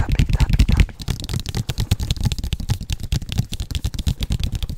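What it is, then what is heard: Cardboard box. Fingertips and nails of both hands tap and scratch a large, hollow printed cardboard Oculus Quest product box. The result is a rapid, dense run of deep, hollow thumps with short, dry scratchy clicks on top; it is loudest in the first second, then continues as a steady patter.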